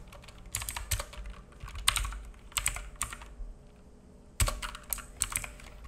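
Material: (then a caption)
Plastic. Fingertips of both hands type on a black full-size mechanical keyboard with plastic keycaps and a hollow case, resting on a wooden desk. Irregular bursts of quick, bright key clicks and clacks come with a soft low thump under each press. Each click dies away almost instantly, leaving short quiet gaps between bursts.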